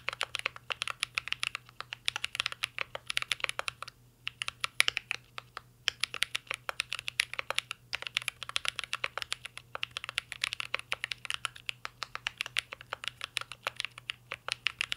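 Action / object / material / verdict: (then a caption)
tap / mechanical keyboard with metal case and plastic keycaps / plastic, metal / none. A full-size mint-green Cyberboard R3 mechanical keyboard with a metal case, plastic keycaps and Holy Panda switches, resting on a desk, is typed on steadily by two hands with fingertips. The result is a rapid, continuous stream of short, bright, clacky keystrokes with brief pauses, over a faint low hum.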